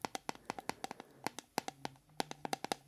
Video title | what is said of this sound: ASMR TRIGGERS - 4 Triggers to fall asleep 😴 - Soft spoken - Hand movement | It might be a little bit more agressive.